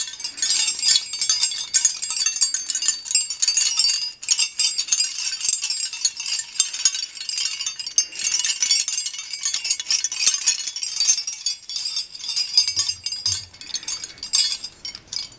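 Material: Iron.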